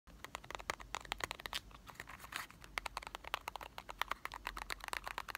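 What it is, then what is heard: Cardboard chocolate box. A small printed cardboard box of Marble chocolates, hollow and likely holding candy, is held in both hands and tapped with short fingertips and nails. A rapid, uneven stream of dry, crisp clicks and light crinkly taps is heard, bright and thin with almost no low end. Each tap stops at once without any ring.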